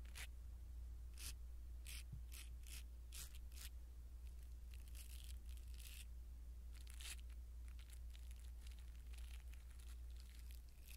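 A blue silicone-bristle ear pick scratches and brushes a small black foam windscreen on a pin microphone. Soft, bright scratchy rustles come in short bursts over a steady low hum, and the level stays quiet and even throughout.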